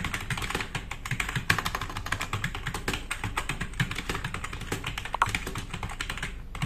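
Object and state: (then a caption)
Plastic mechanical keyboard. Fingertips of both hands type fast on a black RGB-backlit tenkeyless plastic mechanical keyboard with plastic keycaps, resting on a wooden desk. A rapid, dense stream of short clacks with bright click tops and a low, hollow thud beneath each keystroke runs steadily, with a few sharper, louder strikes standing out.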